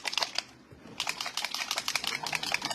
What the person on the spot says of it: you can hear that little BB thing in there